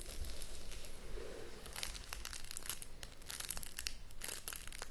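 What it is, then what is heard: Shrink-wrapped cardboard box. Long nails scratch and tap along the sides and front edge of a shrink-wrapped cardboard board game box while the hands hold it. Crinkly plastic rustles mix with quick, bright taps and scratches over a steady low rumble.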